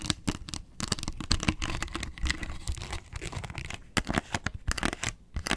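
Long nails scratch the rim and underside of a hollow, round yellow plastic box lid with a barcode sticker on its underside. The result is a dense run of quick, crackling scratches and scrapes with sharp bright bursts over a low hollow rumble, pausing briefly between strokes.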